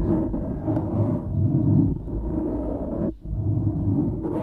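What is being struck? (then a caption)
Foam microphone windscreen. Fingertips brush and scratch the sides of a dark grey foam windscreen on a studio microphone, producing a dense, low rumbling scrape with muffled crackle and little high end. The steady friction noise briefly drops away just past the three-second mark before the scratching resumes.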